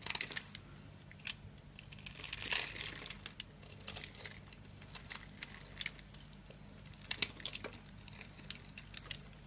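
A small metal blade scrapes and carves a solid, hand-sized bar of dry green soap held in one hand, shaving off crumbly cubes that fall onto the table. Quiet, bright, crisp crunches and scratchy scrapes crackle throughout, with a longer, louder scrape about a quarter of the way in. Each crunch stops almost at once, with very little low end.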